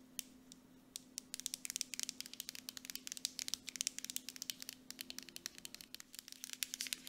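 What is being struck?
Plastic cosmetic jar with metal lid.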